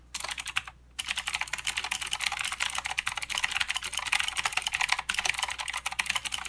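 Both hands' fingertips type fast on a full-size plastic Redragon K552 mechanical keyboard with clicky blue switches, white, grey and green plastic keycaps, and a hollow case resting on a desk mat. A dense stream of sharp, bright clicks runs throughout with almost no low end, each click dying away almost instantly. There is a brief pause just before the one-second mark before the typing resumes.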